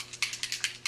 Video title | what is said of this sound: Old Person Makeup for Actors: Part 5 | you can hear it like a paint can